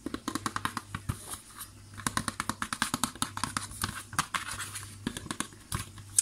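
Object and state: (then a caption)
Cardboard cling film box. A long, narrow printed cardboard box holding a roll of cling film is held horizontally while fingernails scratch and tap along its surface. The result is a rapid series of short, dry, bright clicks and scratches that stop almost instantly, over a faint steady low hum.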